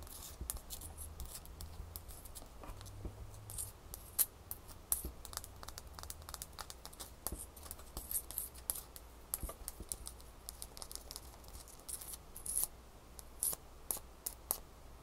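A small, solid piece of clear frozen ice held in the hand is tapped and scratched with long manicured fingernails. Quick, sharp bright clicks and scratchy ticks come in an irregular stream over a quiet low hum.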